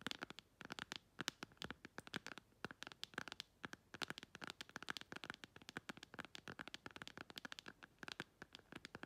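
Long, pointed red acrylic nails rapidly tap and scratch the face of a flat, phone-sized clear plastic phone case with a beige "ASMR" printed insert, held in the hand. About 64 quick, dry, bright clicks follow one another over nine seconds, mixed with crisp scratching. Each click stops instantly with no ring, and the overall level stays quiet.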